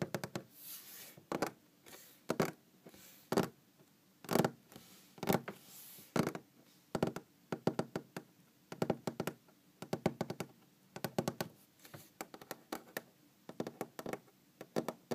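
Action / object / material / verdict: tap / wooden tabletop / wood / none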